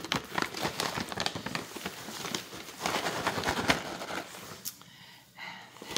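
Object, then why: Plastic snack pouch. Long nails scratch and crinkle the front and back of a full plastic granola pouch. The result is a dense run of crisp, irregular crackles and rustles, bright and papery. The sound thins out and quiets near the end.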